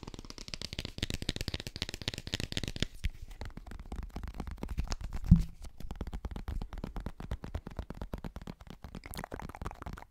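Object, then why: Plastic powder tub with paper label. Fingernails tap and scratch the labeled side of a cylindrical plastic G Fuel powder tub held close to the mic. The sound is a dense run of quick, dull clicks and scratchy rustles with a soft low thump, and one sharper knock stands out midway through.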